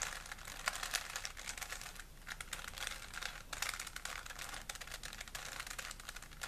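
A small solid plastic 3x3 Rubik's cube is held in both hands while fingertips twist its layers, producing rapid, bright plastic clicking. The clicks come in dense bursts with very short decay throughout the clip.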